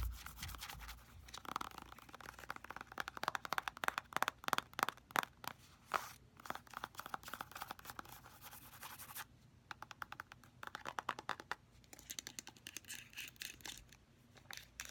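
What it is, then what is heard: Plastic squeeze tube, filled. Long nails rapidly tap and scratch the front and back of a hand-sized, filled orange soft plastic cosmetic squeeze tube of face mask. Quick, dry clicking taps mix with bright scratchy rasps against a soft plastic surface, briefly thinning out midway before picking up again.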